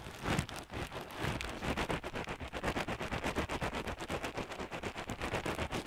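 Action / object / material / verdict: shake / crocheted yarn hacky sack with pellet filling / yarn, pellets / none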